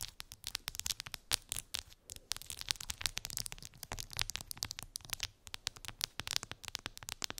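Long pink acrylic nails scratch and tap colorful resin gummy bears on a clear plastic phone case lying on fluffy fabric. The result is a dense, rapid stream of crisp, bright clicks and scratchy rasps with very little low end, each tap dying away almost instantly.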